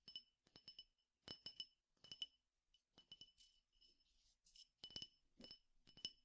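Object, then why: Small glass tumbler with seeds. A small clear drinking glass, partly filled with seeds or grains, is held in one hand and tapped on its side with the fingertips and nails of the other. The result is quiet clusters of bright, glassy clinks with a ringing tone near 3 kHz that dies away almost at once.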